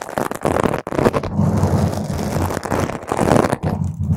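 Long pointed green acrylic nails on both hands scratch a purple spherical foam windscreen on a microphone. The result is a dense, continuous, muffled scratching and crackling with a heavy low rumble and little high end, dipping only briefly between strokes.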